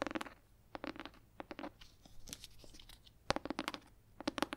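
Long red nails tap and scratch the cover and spine of a large, solid red leather-bound hardcover book. Quick clusters of dry, short taps mix with soft scratchy rasps and bright clicks, each stopping almost instantly with no ring, over a quiet background.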